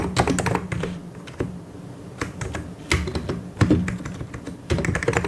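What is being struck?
Plastic mechanical keyboard.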